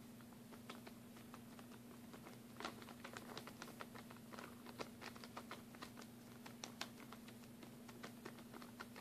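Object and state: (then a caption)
Plastic bag of glue sticks. A plastic packaging bag tightly holding stacked mini glue sticks rests in the hand and is tapped rapidly with long fingernails. The result is a quick, uneven stream of light, crisp clicks with a faint crinkle, similar to keyboard typing. A steady low hum runs underneath throughout.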